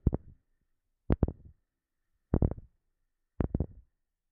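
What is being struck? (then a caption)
Wooden object. A wooden object is tapped in four short, evenly spaced clusters, each a quick run of two or three knocks. The taps are dull and low with almost no ring, separated by silence.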